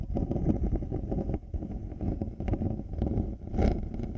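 Fingertips and nails scratch both plastic and faux-leather earcups of black over-ear headphones placed on a binaural microphone. The result is a dense, low, rumbling scrape with many quick rustling strokes, broken by short dips and a brighter, louder scratch near the end.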